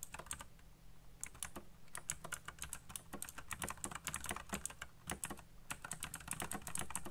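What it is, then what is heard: Plastic mechanical keyboard being typed on. Fingertips type very fast on a backlit mechanical keyboard with black plastic keycaps. A dense, rapid run of sharp, bright clacks keeps going for about seven seconds over a steady low hum, with short pauses near one and five seconds. Each keystroke dies away almost at once.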